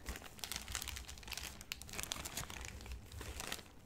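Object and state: Plastic bag of flour tortillas.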